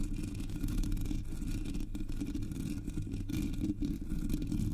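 Long metallic nails scratch with both hands across the hollow black metal mesh grille of a Blue Yeti microphone. The result is a continuous low, rumbling scrape with a steady whirring texture and faint brighter hiss above.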